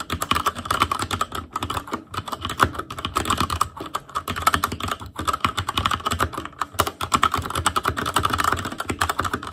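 Fingertips of both hands type rapidly on a full-size ASUS ROG Claymore Core mechanical keyboard with plastic keycaps on Cherry MX Red switches, a metal plate, a hollow case and RGB backlight. A dense, steady stream of short, clacky key taps with a bright, plasticky tone centered around 1.4 kHz continues throughout.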